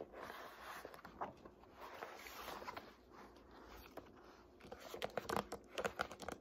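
Long nails tap and scratch the blue paper endpaper, backed by board, on the inside cover of an open hardcover Art History textbook. Soft, papery scratching runs through the first few seconds, then sharper, quick-decaying taps cluster toward the end. The sound is quiet and dry, centered in the mid-high range.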